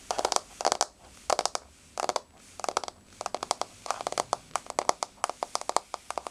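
Long blue-painted fingernails of both hands rapidly tap a flat, solid wood-grain floor in quick bursts of clicky, dry taps. Each tap is short and sharp with a bright edge and almost no ring, arriving in clusters separated by brief pauses.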